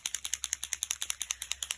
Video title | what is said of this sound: Posca Pens what are they and some ways they can be used. A quick intro to Paint Posca Pens | give it a shake. Now you can hear the ball.